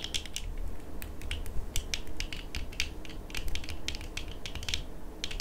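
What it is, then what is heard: Plastic eyeglass frames tapped with fingernails. Both hands tap long manicured nails against dark, small, hollow plastic-framed eyeglasses with clear lenses worn on the face. Many quick, sharp clicks ring out in irregular bursts, each bright and very short. A steady low rumble sits underneath.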